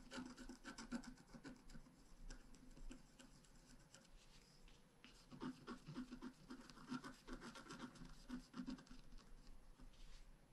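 A wooden stylus scratches short strokes near the top of a thin, flat, black-coated scratch art card. Dry, rasping scratches come in quick bursts, quieter through the middle of the clip before picking up again.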